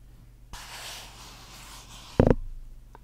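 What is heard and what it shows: Fingernails scratch and tap the body of a small clear plastic bottle with a white cap and liquid inside, held up in one hand. A soft, airy scratching hiss runs for over a second, then a short, loud cluster of dull taps rings out and fades quickly.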